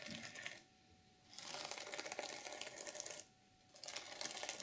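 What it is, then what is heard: Sequin fabric cover being scratched. Long nails scratch downward across the flat sequin surface of a reversible sequin fabric journal cover. Three bursts of bright, crackling, rustling scrape are separated by two short quiet pauses.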